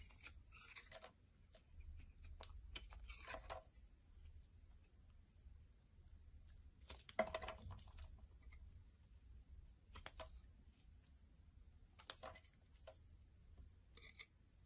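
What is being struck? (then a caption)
Bar of soap cut with a blade. A palm-sized, solid dark grey-black bar soap with white streaks is held in the hand and cut and scraped with a utility knife blade, breaking off chunks. Short bursts of crisp, bright scraping and crackling come and go over a steady low rumble, each dying away quickly.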